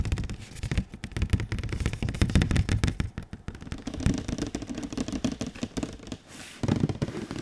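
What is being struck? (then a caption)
Glossy printed cardboard box. Fingertips tap rapidly on a large, glossy printed cardboard console box as it is rotated. The result is a dense run of dull, low, hollow taps with quick decay, mixed with soft scraping and handling noise as the box turns.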